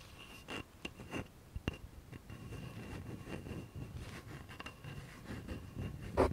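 Fingernails and fingertips of a bare hand scratch and tap the knob end of a solid, light wooden baseball bat held upright. Quiet, dry scratching runs throughout, broken by several short, dull taps that die away almost at once, and the loudest tap comes near the end.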